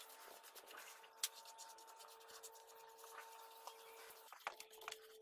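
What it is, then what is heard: Wooden birdhouse being brushed with finish. A red-handled paintbrush is rubbed and stroked across the roof panel of a small, hollow birdhouse made of light pine boards, with a round entrance hole and a wooden dowel perch, standing outdoors, brushing on finish. The result is a soft, bright, scratchy brushing hiss over a faint steady hum, broken by a few sharp clicks.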